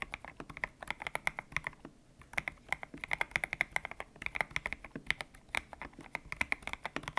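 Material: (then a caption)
PBT plastic. Fingertips type on a white-cased mechanical keyboard with a hollow case, grey and pink PBT plastic keycaps, resting on a desk mat. A rapid run of short, bright clacks centers around 2 kHz, with a brief pause near the two-second mark. Each keystroke dies away almost instantly, with little low-end thump.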